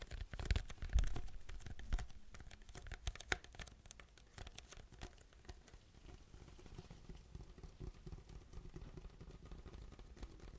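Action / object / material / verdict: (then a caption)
tap / paper cup with plastic lid / paper / none. A large, hollow white paper drink cup with a yellow logo, plastic lid and straw is gripped in both hands and tapped and scratched with fingertips. Quick, irregular soft taps and scratchy rustles sound dull and thuddy, strongest in the first two seconds, then settle into a quieter, steady patter.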